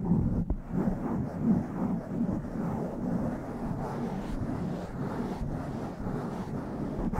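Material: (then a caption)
Foam. Fingertips and long nails scratch over a blue foam windscreen on a black microphone and cup it. The result is a continuous muffled, rumbling rustle, heavy in the lows and dull with almost nothing bright, swelling and easing as the hand moves.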